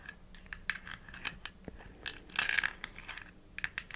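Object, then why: Plastic bottle with screw cap. A small plastic supplement bottle with an orange label and a white plastic screw cap, hollow and held in the hands, is tapped rapidly with long nails, mostly on the flat white lid. The result is a quick run of light, dry, clicky taps with a plasticky ring around 1.6 kHz and bright, scratchy edges, with no low end and no lingering decay.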